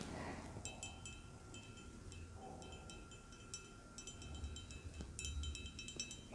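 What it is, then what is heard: Ceramic mug tapped with nails. Long dark red acrylic nails tap the outer surface of a medium-size, hollow white ceramic mug with a cartoon print and a handle, held in both hands. The taps are quick, bright, glassy clicks with a chime-like ring, coming in short clusters. They sit over a soft, low rumbling background and a faint steady tone, at a quiet level throughout.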